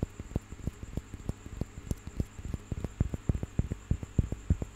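A small carved, painted wooden piece with relief figures, held in one hand, is tapped and scratched with fingertips and nails. It makes a quick, uneven patter of soft, dull, low knocks that die away almost instantly, with light scratchy texture between them. A faint, steady high tone runs underneath.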